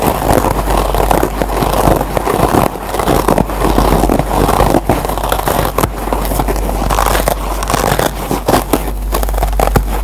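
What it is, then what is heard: Kitchen sponge with nylon scouring pad. Fingertips and short nails scratch and pluck the fibrous green nylon scouring layer of a dry yellow foam kitchen sponge. The result is a dense, continuous crackling scratch that stays loud and steady throughout, with most energy in the low-mids and a constant low hum underneath.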